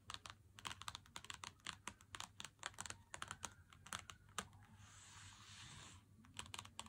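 A Lindt Excellence 90% chocolate bar in its white cardboard box, lying flat on a wooden table, is tapped with the fingertips and nails of both hands. The result is a quick, irregular run of dry, bright clicks. Near the end, the taps give way to a steady soft scratching hiss before a few final taps.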